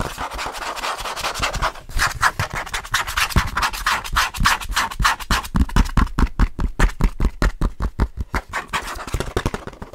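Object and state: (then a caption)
Plastic DVD case with disc, rubbed and scratched. Fingers rub and scratch the surface of an open plastic DVD case and the printed disc inside it. A dry, continuous rubbing hiss gives way to a fast run of short, distinct scratching strokes with a soft low thump beneath. The strokes come at an uneven rhythm and fade almost instantly.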